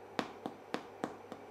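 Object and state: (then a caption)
Cooked-through English muffin (hollow). Spelt English muffins cooked in a frying pan are tapped before being taken out, giving five short, dull, hollow taps with almost no ring. The hollow sound shows the muffins are cooked through.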